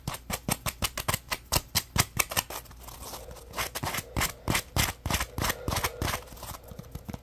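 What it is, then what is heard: Foam scrub sponge. A yellow porous polymer foam Scrub Daddy puppy sponge is held in one hand while the fingertips of the other hand flick and scratch its foam edge. The result is a quick, irregular run of sharp, dry, bright ticks and snaps with almost no ring. Midway, a softer, rustling scratchy texture fills the gaps between them.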